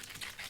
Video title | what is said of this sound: 170만뷰 백 김치- 백김치 맛 하나로 평생 행복하게 해드릴께요, 삼청동, 신촌 칼국수집 백김치보다 맛있게 만들었습니다. 특별한 (세척. 절임, 양념) JUNTV 백김치, 준티비 | Nghe tiếng cải thảo kêu rột rột rồi đúng không?